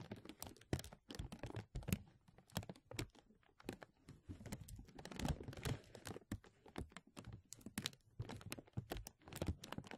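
A thin, translucent plastic film sheet is stretched over a mesh microphone and held at both edges by fingertips, then gently pulled and rubbed. It makes a dense, continuous run of sharp crinkles and crackles, with brief bright snaps rising out of a low rustle.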